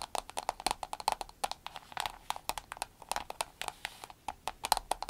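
An empty, soft, glossy green vinyl glasses case with a snap button is tapped with long nails on a table, then lifted and squeezed. A quick, uneven run of many short, dry, clicky taps sits around a mid pitch near 855 Hz with some bright edges. Each tap dies away almost at once with no ringing.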